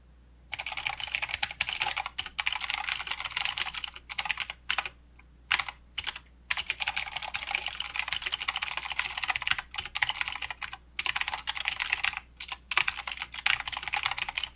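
A mechanical keyboard with plastic keycaps and clicky blue switches is typed on with the fingertips of both hands. Bursts of bright, sharp clicks come in quick runs separated by brief pauses. Each click is dry and dies away almost at once.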